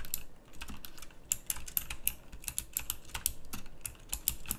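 Fingertips type fast on a full-size backlit pink mechanical keyboard with round plastic typewriter-style keycaps. A rapid, uneven stream of sharp, bright clicks rings very briefly over a low, soft thump beneath.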